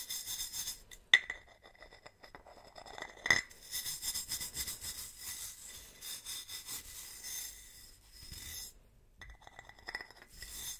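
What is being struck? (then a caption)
Ribbed metal bottle. A wooden-handled bristle brush is stroked across the ribbed body of a large, hollow, silver metal swing-top bottle held horizontally. Bright, raspy scratching comes in repeated bursts over a steady metallic ring near 2 kHz. Two sharper metallic clinks stand out early on.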